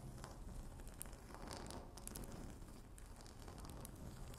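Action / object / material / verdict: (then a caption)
scrape / laminate tabletop / laminate / none. Long natural nail tips tap and scratch a flat, solid speckled laminate tabletop, making a steady run of dense, crackly scratching with bright ticks over a low rumble.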